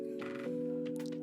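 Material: Nothing is struck.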